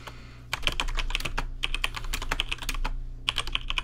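Fingertips type on a rainbow-lit plastic RGB mechanical keyboard with plastic keycaps, giving quick, bright, clacky keystrokes with almost no ring. The clip opens with a faint low hum for about half a second, then bursts of rapid taps follow, separated by a short pause.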